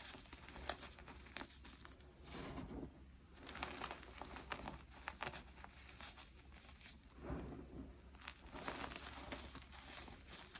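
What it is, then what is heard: Crushed gym chalk powder. Both bare hands scoop, squeeze and rub handfuls of dry, crumbly blue gym chalk into a loose pile of crushed chalk powder and small chunks. The result is a dense, soft crunching and crackling with gritty rustles, swelling and easing in waves over a steady low hum.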